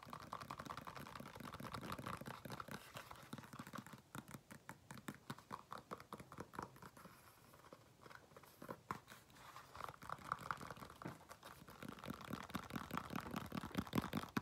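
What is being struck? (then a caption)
Faux leather flat shoe. An empty, smooth black faux leather flat shoe is bent and held while fingertips and nails tap and scratch the side of its upper. The result is quiet, rapid, irregular tapping and soft scratchy crinkling, easing off to a lighter stretch in the middle before picking up again.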